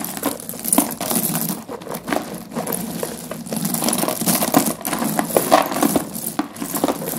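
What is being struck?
Pile of broken slate pencil fragments.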